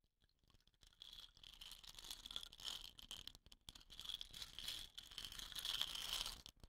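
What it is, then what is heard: Painted wooden rain stick. Long painted nails tap and scratch a hollow, dot-painted wooden rain stick with a woven rattan end, standing upright on dark cloth. Quiet, irregular, fast clicking and scraping builds after the first second, with a bright, hissy character centered around 3.4 kHz and almost no low end. The scratching runs steadily with brief drops near the middle and the end.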